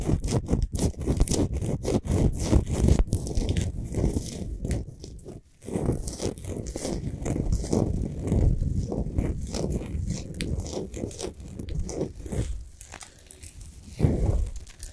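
Long nails of both hands scratch quickly over the sides of a large, solid Himalayan salt sphere lamp lit from inside. The result is a dense, continuous, low-heavy rasping with crackly texture. It dips briefly to near silence around the middle before resuming and flares up again near the end.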